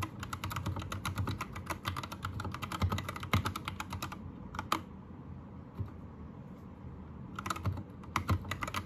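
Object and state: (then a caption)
Plastic mechanical keyboard. Fingertips of both hands type fast on a white, green-lit 60% Anne Pro 2 mechanical keyboard with plastic keycaps. Bursts of quick, crisp key clicks ride over a low rumble, with a sparse pause of only scattered keystrokes in the middle before the rapid typing resumes.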